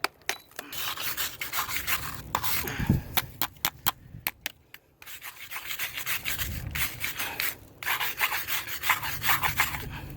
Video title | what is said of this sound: Gutters, Foundation Wall and Siding | you can hear where it's hollowed out